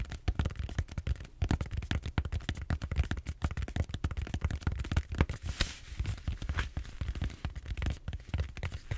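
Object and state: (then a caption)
Styrofoam foam roller. Fingernails scratch and tap across a large purple bead-foam styrofoam roller held horizontally. The result is a dense, steady stream of short, dry crackling taps and scrapes with a soft low thump underneath and almost no ring.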